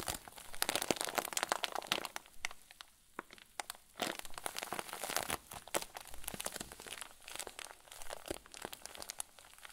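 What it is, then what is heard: Plastic zip bag with fluffy filling. A clear plastic zip bag full of white fluffy filling is squeezed and pressed with the fingers and thumbs of both hands. Dense, bright plastic crinkles and crackles come in rapid bursts, dipping to quieter rustling before surging again.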